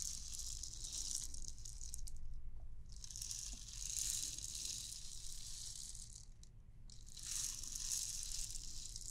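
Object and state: Clear plastic bauble with loose beads inside.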